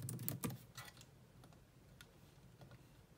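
Long nails and fingertips type on a grey laptop keyboard with low-profile plastic keys. A quick, loud burst of clicky taps at the start gives way to softer, irregular scattered clicks. Each has a dull low thump with a bright, dry tick on top that dies away almost at once.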